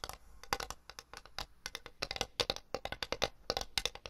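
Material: Porcelain.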